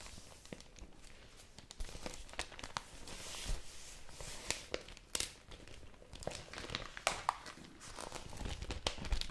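A pink printed newsprint supplement is rolled, folded and crinkled in both hands with fingertips and long nails. Soft, continuous paper rustling is broken by sharper, bright crackles and crunches.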